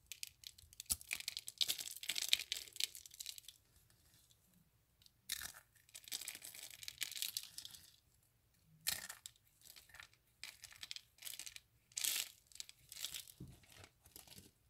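Dry soap curls are crumbled between fingertips into flakes over a pile of soap shavings. The crushing makes bright, crisp crackling and crunching in dense bursts separated by short quiet pauses, with almost no low end.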